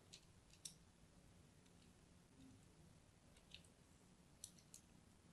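A solid pink-and-white striped soap bar, held in the hand, is scored with a thin blade. Quiet scratching and cutting give sharp, bright clicks and ticks spread across the clip over a low, steady background hum.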